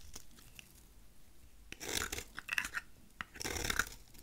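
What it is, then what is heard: Dry soap bar being shaved. A utility knife blade shaves the face of a solid, rectangular, dry dark purple soap bar held in the hand. After a quiet start, crisp, dry scraping and cutting comes in two bursts of bright, gritty rasps with little ring.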